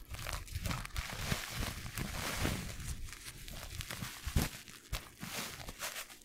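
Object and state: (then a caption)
Paper tea bag being crinkled. A single small, soft, flat filter-paper tea bag filled with tea is held up close to the mic and crinkled and rubbed between the fingertips. The result is a continuous stream of dry, papery crinkling and rustling with a bright, hissy texture over a low, muffled rumble, broken by short sharper crackles, the loudest near the middle.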